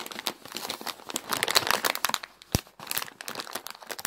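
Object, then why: Plastic bag of dry egg noodles. Long decorated nails scratch, tap and crinkle a large clear plastic bag full of 900 g of dry wavy egg noodles. The result is a dense stream of bright, crisp crackles and rustles with quick ticking taps, broken by one sharp louder click partway through.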